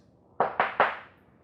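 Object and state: Hollow floating wood floor.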